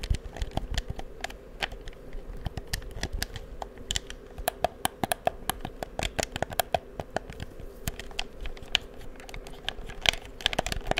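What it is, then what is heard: Plastic game controller buttons and triggers. Fingertips click the buttons and triggers of a black, hollow plastic PS4 game controller held close to the mic and tap its casing. Dozens of short, dry, bright clicks and taps come in irregular bursts over a steady low hum, each one dying away almost instantly.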